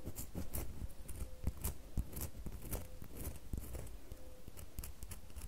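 Long fingernails scratch a small, solid red bar of soap, sending shavings falling onto the table. The sound is a quiet, steady run of dry, crackly scrapes and soft ticks, with bright hiss on each stroke and a low, muffled thump underneath. A few faint short squeaks come through between the scrapes.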